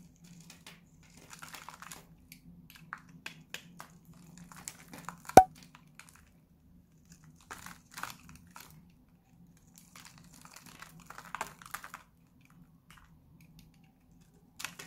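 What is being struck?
Bar of soap.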